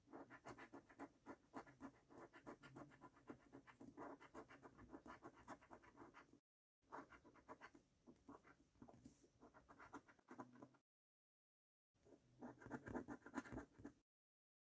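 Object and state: Paper scratchcard being scratched.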